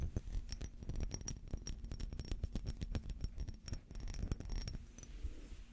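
Fingernails scratch a small textured glass perfume bottle with a metal cap, partly filled with amber liquid, while it is held in the hands. A fast, uneven run of short scratchy ticks and scrapes comes with a deep, muffled low rumble and a faint bright tone, easing off toward the end.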